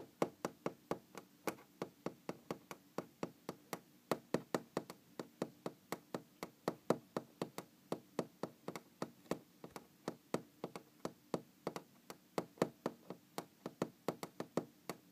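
A large, solid brown wooden tabletop is tapped with long green-painted fingernails and knocked with the fingers of both hands. About 61 quick, dry, hollow-sounding taps and knocks with a mid-pitched woody tone fall in a steady, slightly uneven rhythm. Each one cuts off almost instantly against a quiet background.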